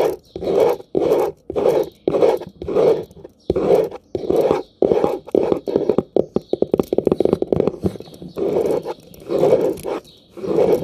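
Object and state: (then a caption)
Plastic round hairbrush. Fingertips and nails rake and scratch back and forth across the dense ball-tipped pin bristles of a light blue plastic round hairbrush with a hollow barrel, held close up. Rhythmic scratchy strokes with a midrange body alternate with brief silences. Partway through they speed into a rapid flurry of crackling ticks before slowing back to steady strokes.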